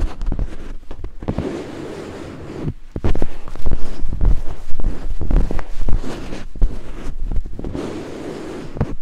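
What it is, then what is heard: Silicone binaural microphone ear being scraped. Two thin wooden picks held in fingertips scrape the white silicone ears of a binaural microphone. The result is a deep, muffled rumble of fast, uneven thuds and scratchy rubs, with quieter hissing stretches between bursts.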